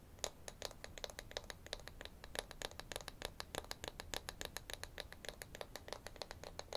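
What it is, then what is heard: Wooden toy wrench. A small, flat, solid light-wood toy wrench from a children's tool set is held in both hands and scratched and tapped with fingernails. The result is a rapid, steady series of short, dry, bright clicks and scratches that die away almost instantly over a low, soft background hiss.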